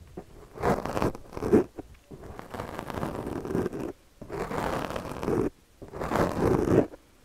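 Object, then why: Foam microphone windscreen and plastic comb. A yellow plastic comb is dragged across a black foam windscreen on a microphone while the other hand steadies the mic. Its teeth make rapid, raspy zipper-like scratching in several separate passes with short pauses between them.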